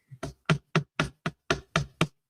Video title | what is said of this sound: Exotic Leather for Bag Making – Ostrich, Snake, Lizard & More -- Bag Maker's Workroom 12/19/25 | knock it on the table. We'll take this so you can hear it. Okay, I mean, it is hard.